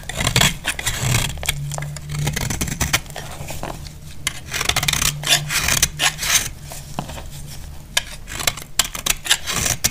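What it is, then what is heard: Dry soap bar being shaved. A knife blade shaves crumbly flakes off the face of a solid, dry, cream-white soap bar. The sound is a rapid series of bright, dry scraping and crackling strokes with sharp high-frequency crunches, over a steady low hum.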